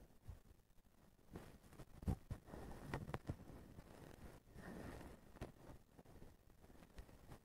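A blue plastic-strand feather duster with a white plastic handle is held by the handle while fingers scratch and brush through the strand bundle. The result is a quiet, low, muffled rustling with soft scratchy crackles and a few sharper brushing bursts, carrying almost no bright treble.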